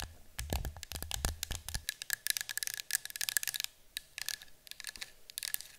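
Long fingernails tap and scratch the side of a yellow cylindrical cardboard citronella canister resting on a table. Quick, dry, bright clicks and scratchy rasps come in dense bursts with a faint steady tone near 1.7 kHz. Soft low thumps sound under the first two seconds.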